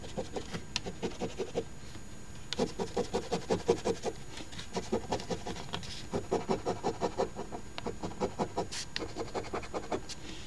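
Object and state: Coin scratching a paper scratch ticket.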